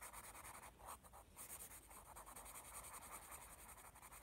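A graphite pencil rubs back and forth across a page of a thick paper sketchbook pad marked "AS," making quiet, steady scratching shading strokes. The sound is a soft, bright, papery hiss that swells and fades rhythmically with each stroke, with a brief dip in the middle before the shading continues.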